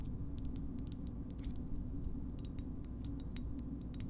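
A green plastic bottle opener with a metal insert is tapped with long nails on its handle and opening. A quick series of sharp, high, clicky taps sounds over a steady low hum.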